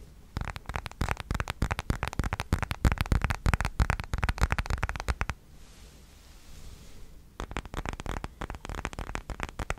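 Fingertips and nails tap and scratch the back and edges of a hand-sized, thin, solid smartphone in a dark plastic case, held in both hands close to the mic. Quick, irregular, dull tapping and scratching clicks with a low, thumpy body fill the first five seconds, then briefly drop to a soft hiss. The tapping resumes for the last couple of seconds.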